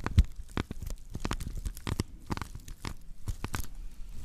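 Long nails of both hands scratch across the woven natural-fiber base of a woven straw plate, which is later tilted to show its rim. A steady run of short, dry, crackling scrapes and crunchy ticks comes through, each stopping almost instantly, with a soft low rumble underneath and a few brighter, sharper streaks.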